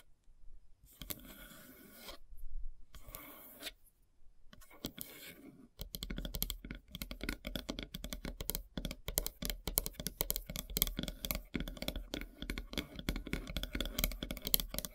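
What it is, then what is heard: Wooden log slice. Long silver nails scratch across the grain of a large, solid, light-colored log slice board with a bark edge, first in a few separate slow, broad strokes. After about six seconds, they switch to dense, rapid tapping and scratching. The sound is dry and crisp, with a strong low thud under bright, scratchy detail.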